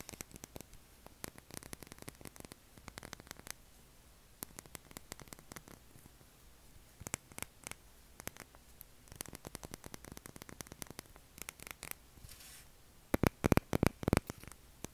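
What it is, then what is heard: Bar soap tapped and scratched. An unwrapped, solid, palm-sized pale blue oval bar of soap is held and scratched and tapped with short fingernails. Quick, dry clicks and scratchy ticks come in irregular bursts over a steady low hum and faint static. A few louder, sharper taps land near the end.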